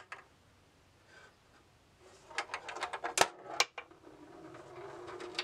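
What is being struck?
Steel ball in a bamboo wooden maze.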